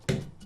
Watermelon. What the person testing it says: 如果 有一个像篮球球的声音 这西瓜是一种美丽的西瓜